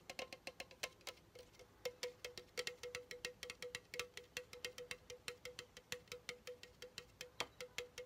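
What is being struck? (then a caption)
Aluminum drink can. Fingertips and nails tap around the side and rim of a pink Chupa Chups soda can, a hollow aluminum can with its pull-tab top showing. Dozens of quick, bright clicks come in a steady run, each with a short metallic ring near 480 Hz that dies away almost at once.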